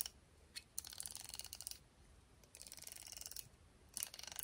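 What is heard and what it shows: Long painted nails flick and strum the teal-tipped nylon bristles of a black plastic round hairbrush with a hollow barrel, held in one hand, and the brush is turned at the end. The result is quiet, bright, rapid ratchet-like ticking in dense bursts, preceded by a single sharp flick, with almost no low end.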